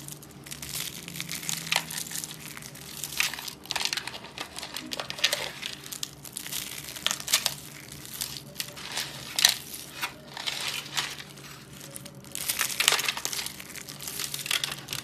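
Fingers squeeze and crush a solid ball of pale green and yellow dry soap shavings, held over a glass bowl, into crumbly flakes. The result is a steady, dry, bright crinkling crunch that swells into louder crackling bursts with short pauses between.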